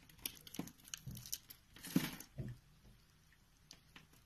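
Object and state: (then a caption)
Bar soap being carved. A solid pink Fa soap bar held in the palm is scored and carved with a box-cutter blade, shaving its face into many small flakes. Quiet, crisp scraping ticks and short crumbly bursts have a low thud under them and bright edges on top, with a louder carving stroke near the middle. Fine flakes crackle softly as the cuts taper off.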